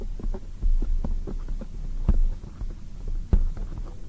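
A black foam microphone windscreen is tapped with long acrylic nails and fingertips. The taps come through as soft, muffled, deep thumps with a steady low hum and throb underneath, almost no bright content, and a few stronger bumps standing out at irregular intervals.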